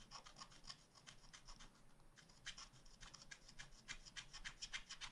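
A wooden stylus scratches rapid strokes into the black coated page of a spiral scratch art pad of wax-coated paper, drawing an ice cream cone. Quick, bright, dry scratching strokes come in an uneven rhythm, with a short lull partway through before the strokes pick up again. The sound is quiet.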